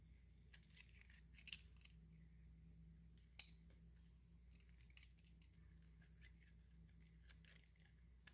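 A utility knife blade scrapes and shaves flakes and curls off the face of a small, solid, pale-yellow dry soap bar held in the palm. The sound is a quiet, bright, crisp scratching with a few sharp, short clicks. A steady low hum runs underneath.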